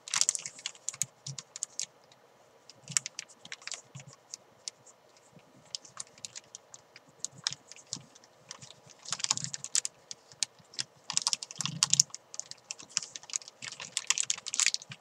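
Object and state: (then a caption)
Plastic bag with chalk ball, crinkled. Fingers with long nails crinkle, scratch and rub a thin clear plastic bag holding a white climbing chalk ball. Bursts of bright, crisp crackling and sharp ticking come in uneven clusters with brief quiet gaps and faint soft low thumps underneath.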